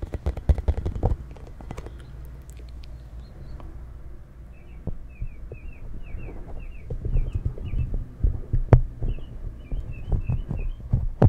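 Fingers tap and scratch the spikes of a hand-sized, hollow pink plastic spiky ball held close to a FIFINE K690 microphone. The result is a run of soft, low, thumping taps, dense at the start and again in the last few seconds, with quieter scratchy rustling in between. Faint, high, bird-like chirps are heard in the background during the second half.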